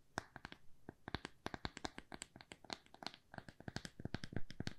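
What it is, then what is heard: Wooden square coaster. A small, thin, solid square plywood coaster is held and turned in the hands while being tapped and scratched with long nails. Dozens of quick, dry, clicky taps follow one another, each with a dull low knock underneath and a bright nail click on top. Soft scratching fills the gaps, all at a quiet level.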